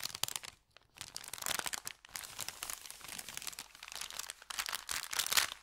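An empty, thin brown kraft paper bakery bag with red print, flattened on felt, is held at both ends and crinkled and twisted by hand. Dense, bright crackling and crunching bursts run almost continuously, with short quiet gaps near the start and around two seconds. The paper rustle has little low end and stops dead between crinkles with no ring.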